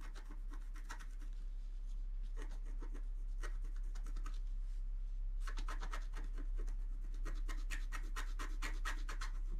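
A wooden stylus in the right hand scratches the black coating off a flat scratch art paper card held down by the left hand. Quick, bright, dry scratching strokes come in rapid bursts, with a brief pause partway through. The strokes then resume more densely until the end, over a steady low background hum.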